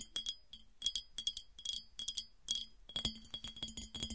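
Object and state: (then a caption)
Empty glass piggy bank. Long dark nails tap on the sides of a smooth, clear, hollow, empty glass piggy bank. They make quick, quiet, bright clinks with a high, chime-like ring that dies away almost at once. The taps come in uneven clusters and grow denser toward the end.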